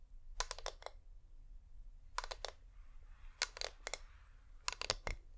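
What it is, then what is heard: Wax-coated LED pillar candle. Fingernails tap and scratch on the sides of a hand-sized, wax-coated flameless LED pillar candle. Quick, dry, bright clicks come in four short clusters, with a soft, hissy scratch between them around the middle, over a quiet low background hum.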